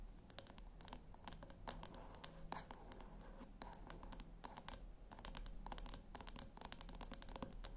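Long nails tap on the top of a flat, round brushed-metal tin that seems hollow, then tap and scratch along its rim. The result is a quiet, steady stream of quick, bright clicks with very short ring, mixed with scratchy rasps over a low, constant hum.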